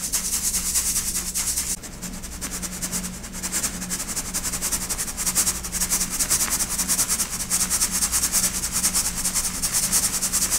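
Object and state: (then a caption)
Baked baking soda crumble shaken in a metal mesh sieve. Pastel baked baking soda chunks are shaken by hand in a stainless steel mesh sieve, rattling against the mesh as fine powder falls through. The result is a bright, gritty, hissing rattle that pulses steadily about two to three times per second, with a brief quieter stretch near the start, over a faint steady low hum.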